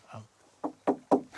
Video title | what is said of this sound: Islande, de glace et de feu - le glacier et le requin (plateau intégral)- #fautpasrever | il n'a pas de cerveau, c'est vide. Ça sonne creux.